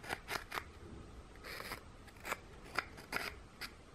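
Fingernails scratch the textured back of a flat, solid, scalloped gingerbread cookie held up in one hand while a second gingerbread piece is held in the other. About eight short, dry, crackly scrapes come through with bright, raspy texture and almost no ring, plus one longer rubbing stroke partway through.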